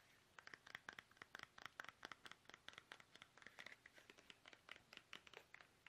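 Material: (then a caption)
Plastic. Fingertips tap fast on a small, soft, hollow, squeezable plastic toothpaste tube held upright in both hands. About 31 quick, quiet, dry taps sound as clicky plastic knocks centered near 1.5 kHz, with bright crackly edges and almost no low end. Each tap dies away almost instantly.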